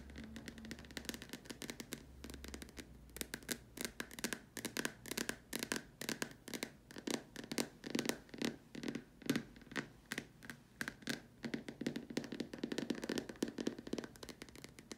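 Long dark nails tap and scratch the sides of a large hollow white plastic dome lamp shade. Quick, dry, hollow plastic taps come in a steady, dense stream, mixed with bright scratchy scraping. A faint low hum sits under the first few seconds.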